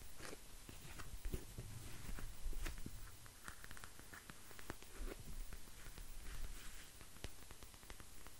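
A clear plastic eye mask filled with small gel beads, with a white strap, is scratched and squeezed with fingertips and nails. Quiet, crinkly scratching mixes with short, sharp plastic clicks and soft squishing over a low, muffled rumble, keeping a steady, close texture throughout.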